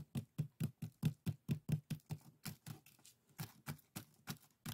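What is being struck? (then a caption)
Pair of woven split-bamboo strainers. Fingertips and short nails scratch and rub the woven strips of a traditional Korean bokjori set: two small, hollow, empty scoop-shaped strainers woven from thin split-bamboo strips with colored strips, tied together and resting on a table. A steady series of short, dry, scratchy rasps repeats at a little over two per second, each with a soft low thump and a brief bright crackle that dies away almost instantly.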